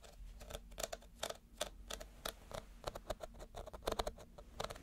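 Fingernails scratch across the woven surface of a small, empty woven reed basket held upside down. The result is a quiet, irregular run of short, dry scratching clicks and rasps with little ring.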